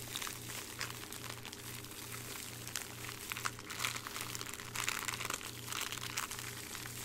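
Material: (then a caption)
Plastic. Fingertips of both hands squeeze and crumple a thin, hollow clear plastic bag with a small jewelry item inside, held close to the mic. The bag gives a continuous, bright, papery crinkling with brief sharper crackles. A steady, faintly pulsing low hum runs underneath.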